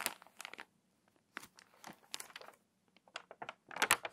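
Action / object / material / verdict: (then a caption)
scrape / glossy paper magazine / glossy paper / none. An open, water-damaged glossy paper magazine lies on a table as a page is turned, then long nails press flat, rub and crease the crinkly pages. Quiet bursts of bright, crackling paper crinkle come in uneven clusters separated by short silences, with the loudest crunch at the end.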